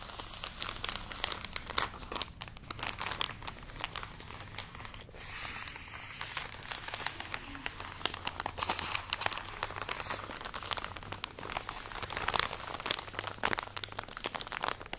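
A full plastic package of cotton pads is scratched with long nails and squeezed, giving a steady, dense crinkling and crackling. The crackle is bright and crisp, with quick, sharp clicks that cut off at once, over a faint low hum.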